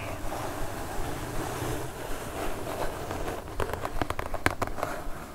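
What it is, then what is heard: Cardboard mailer box. Long acrylic nails scratch across a flat brown kraft cardboard mailer box with a pixel-art print, lying on a fur rug, making a steady low, papery rustle. In the second half the scratching gives way to a run of short, dry, crisp taps on the cardboard surface.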